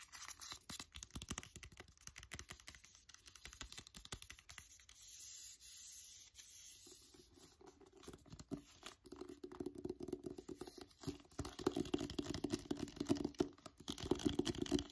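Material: Paper.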